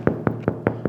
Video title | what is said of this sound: Beautiful Sourdoguh Bread From Start to Finish - Sourdough Bread Recipe | sounds hollow too and light. That means we had a perfect fermentation.